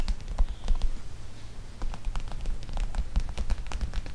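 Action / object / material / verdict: tap / plastic pouch of gel beads / plastic / none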